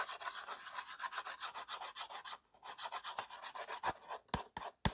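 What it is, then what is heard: Slate pencil rubbed on a slate board. The side of a white slate pencil, pressed by the fingers, is rubbed in sideways strokes across a small, solid, flat framed slate board. It makes a quick train of dry, raspy scraping strokes with a bright hiss and a short pause partway through. The clip ends with a few sharper, louder strokes with a low thump.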